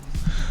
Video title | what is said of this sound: Soundtech ST800 - USB Microphone Budget [Koh Jojo Eps 16] | kalian ketok sedikit nih kayak masih ada bunyi kayak kopong-kopong dikit